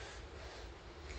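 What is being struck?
Nothing is struck.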